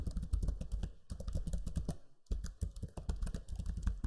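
Fingertips type on the low-profile plastic keys of a backlit black Lenovo Legion 5 laptop keyboard. Quick, muted clicks and soft thuds follow each other in an uneven stream, with deep low thumps under short bright ticks and a brief pause around the two-second mark.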